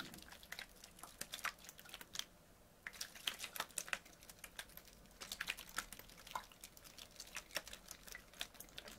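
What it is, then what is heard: Plastic water bottle. Fingernails tap and scratch a small clear PET Bezoya water bottle, full of water and held in one hand. The result is a quiet, fast stream of sharp, bright clicks and scratchy taps that die away almost instantly, with a brief lull a little after two seconds.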